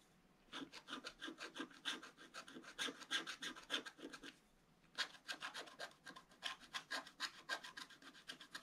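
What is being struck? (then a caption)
Coated paper scratch-art sheet scratched with a wooden stylus. A wooden stylus scratches a flat black-coated scratch-art card in quick repeated strokes over one spot. It makes a dry, bright, raspy scraping in two bursts of fast, uneven strokes, about three per second, with a short pause between them. Each stroke is crisp and dies away at once, with no low end.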